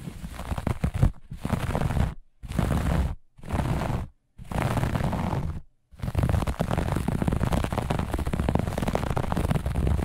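Long nails of both hands scratch fast across a grey-beige looped pile carpet on a step or floor. The result is dense, low, rumbling scraping with little brightness, in five short bursts separated by brief silences, then one continuous stretch of scratching through the last four seconds.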